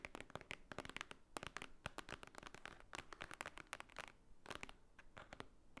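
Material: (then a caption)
Paper. Fingernails tap and scratch across the top surface of a thick, solid, book-like block of white paper lying on a table. The result is a rapid, irregular run of sharp, dry clicks mixed with crisp, crackly scratching. Each sound stops almost instantly, with no ring.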